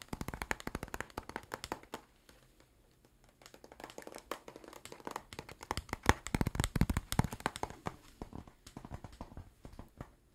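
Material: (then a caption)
Cardboard. Fingernails tap rapidly across the faces and edges of a flat, book-sized blue cardboard box with stickers, held up and apparently hollow. The short, dry taps fall in an uneven rhythm with a dull, low body. They pause briefly after about two seconds, then return and grow louder and denser midway before easing off.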